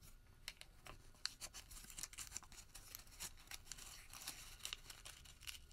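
A crumpled white thermal paper receipt is pulled open between both hands, then squeezed back into a small ball with the fingertips. It makes quiet, bright, dry crinkling with a rapid series of sharp crackles and no ring.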